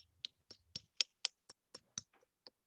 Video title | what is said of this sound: Sweet Science Virtual PD - February 2021 at Uihlein | hear that thud now, a little bit different. It's kind of a deeper sound. That means that's in far enough